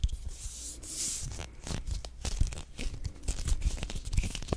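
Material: Plastic.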